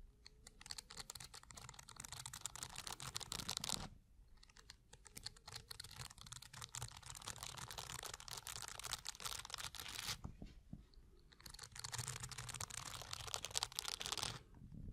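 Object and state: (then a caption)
Plastic bristle block being scratched. Fingertips and short nails scratch and strum the tops of a dense block of stiff blue plastic bristles or pins. The result is a quiet, dense, bright crackling patter of rapid tiny clicks. It comes in three long bursts separated by brief lulls.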